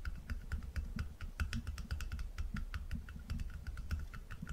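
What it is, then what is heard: Small glass jar tapped with fingertips. Fingertips rapidly tap a small, round, apparently empty glass jar and its dark lid while the jar is held in one hand above a wooden table. The result is a quick, steady patter of soft, low-pitched thuds, each with a faint bright click and almost no ring.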